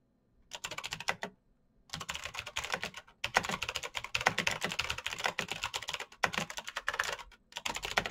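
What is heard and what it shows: Fingertips of both hands type fast on the keycaps of a black plastic full-size Razer BlackWidow mechanical keyboard with clicky green switches, RGB backlight and a hollow case, resting on a desk mat. Bursts of crisp, bright clicks with very short decay rattle out in rapid runs, broken by brief pauses near 1.5, 3, 6 and 7.5 seconds.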